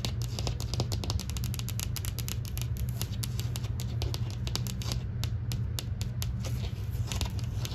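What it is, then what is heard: Painted drywall wall. Long green nails tap and scratch across a flat interior painted drywall wall with textured beige paint. The result is a rapid, steady stream of crisp, bright clicks and scratchy brushing over a constant low hum, with the hand partly leaving the frame at the end.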